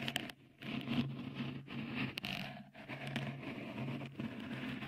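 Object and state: Textured silicone microphone cover.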